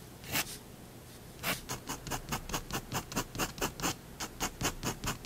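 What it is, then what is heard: Pen scratching on drawing paper. A fineliner pen scratches hatching lines onto a drawn cat and plate on a white paper sheet resting on a wooden desk. After one early stroke and a short pause, a quick run of about seventeen more dry, bright scratches follows, each a brief hiss with a soft papery body.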